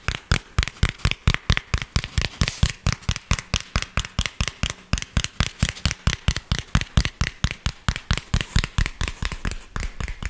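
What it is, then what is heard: Cork coaster. Fingertips and nails rapidly tap and scratch the surface of a round tan cork coaster, a thin solid palm-sized disc held in the hands. About 46 short, dry taps follow one another at an uneven pace, each with a dull low thump and a bright, scratchy click that dies away almost instantly.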